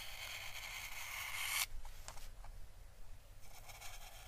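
A small paintbrush is slowly brushed over an orange dried Chinese lantern (physalis) husk, a thin, papery, hollow shell held by fingers. The bristles give a steady, bright, papery scratching that stops abruptly. A few faint crackles and light scratches follow, and the brushing texture quietly returns at the end.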